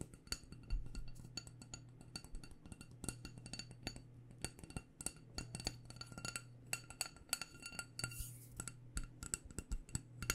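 Long dark nails rapidly tap a small black glass candle jar with a white label, filled with wax. The taps come as quick, bright, dry clicks with almost no ring, spread unevenly over a steady low hum.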